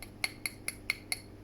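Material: Stone.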